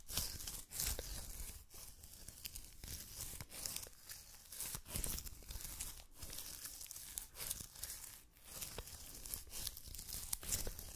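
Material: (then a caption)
Adhesive paper. Fingertips of both hands tap and press on the sticky white adhesive paper roll of a lint roller mounted on a plastic handle, peeling away from the skin each time. It makes a steady run of bright, crackling, tearing peels over soft low thumps, with each sticky release ending almost instantly.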